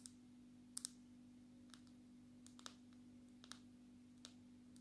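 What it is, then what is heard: Smartphone in plastic case, tapped with fingernails. Long natural fingernails tap on the glass surface of a smartphone held flat in a dark red plastic case. Twelve sharp, bright clicks come at uneven intervals, each dying away almost instantly, over a quiet, steady low hum.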